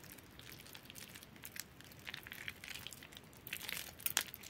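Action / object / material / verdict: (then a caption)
scrape / bar soap / soap / none. Hands with long nails squeeze and crumble a fully soaked, softened bar soap in a yellow bowl, working the wet, pasty mass between the fingers. Quiet, bright, crackly crinkling and soft crunching textures come in a dense run of short bursts, growing a little louder and sharper toward the end.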